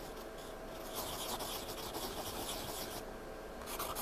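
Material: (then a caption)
Paper. A pencil point is scratched and shaded across a page of a spiral-bound paper sketchpad lying flat. It makes a quiet, continuous dry scratching and rubbing hiss with bright, high grainy texture. The strokes grow a little louder and brighter from about one to three seconds and again near the end.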